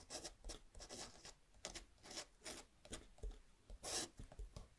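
A metal dip pen nib scratches across a small, thin paper luggage tag resting on a wooden table while writing, with fingertips holding the tag steady. A quick series of dry, bright scratching strokes rises and falls, each stopping short with almost no ring.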